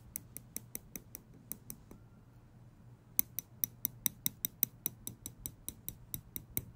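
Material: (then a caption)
Steel. Small steel tweezers have their tips clicked and flicked with fingers, giving a steady run of 26 sharp, bright metallic ticks with almost no ring. A quiet pause of about a second falls midway, after which the clicks return slightly louder and faster.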